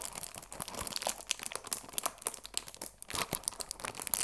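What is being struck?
Cellophane-wrapped cardboard tea box.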